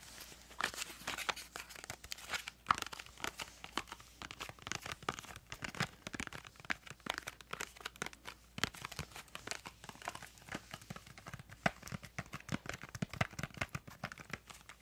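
Long fingernails tap and scratch across the faces and edges of a small, printed yellow-green cardboard crayon box held in both hands. The result is a dense stream of quick, dry clicks and scratchy rasps with a bright, papery edge around 1.2 kHz. Each tap dies away almost instantly.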